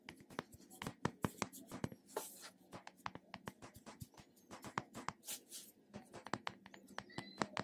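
A medium pink plastic cosmetic jar with an embossed plastic lid is held in one hand while fingertips and nails tap and scratch the top and sides of the lid. Dozens of quick, dry, clicky taps with no ring are broken up by brief, bright scratching swipes over a faint low hum.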